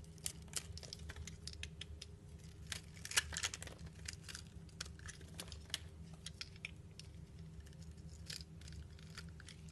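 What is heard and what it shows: A utility knife blade shaves and carves the pre-scored surface of a solid green soap bar held in the hand, with green shavings falling away. Quiet, rapid, bright scraping and crisp cutting ticks repeat throughout. A steady low hum runs underneath.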